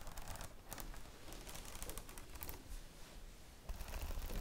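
Long nails quickly tap and scratch the glossy plastic cover of a red A4 spiral notebook. Dense, rapid clicks and scrapes run throughout over a low rumble, with brief bright ticks scattered across the clip. The activity grows louder again near the end.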